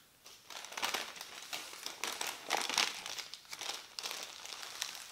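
A thin printed paper instruction leaflet, folded into a smaller stack, is pressed with the fingertips. It makes a continuous stream of bright, dry crinkling bursts with no low end, rising and falling in waves over about five seconds.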